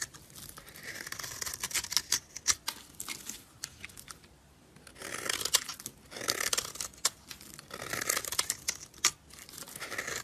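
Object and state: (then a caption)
Dry soap bar scraped with a blade. A solid, dry, rectangular purple soap bar is held in a hand with red nails while a utility blade scrapes thin, crumbly flakes off it. The result is a run of bright, dry, crackling scrapes that come in bursts with brief pauses, with short sharp clicks among them and almost no low end.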